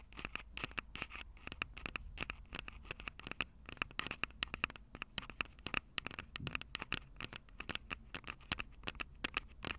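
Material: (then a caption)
Plastic, metal. Long acrylic nails scratch and tap rapidly on the capsules of a Tascam DR-05 handheld recorder, which has a plastic body and metal mic grilles. The result is dense, dry clicks and scratchy crackles with almost no ring, a bright tone that peaks around 2.8 kHz, and a faint low rumble underneath.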